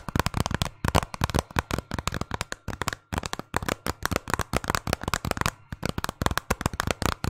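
A hollow, hard plastic video game case, held in both hands behind the mic and partly hidden, is tapped rapidly with fingernails. Dense runs of short, dry clicks come with a hollow low knock and a sharp bright edge. The taps cut off instantly and pause briefly between bursts.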